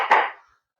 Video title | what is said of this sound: Mazda 6 Wagon Cargo Cover Repair - Retractable Shade Fix DIY | you can hear it by the sound that it's all nicely in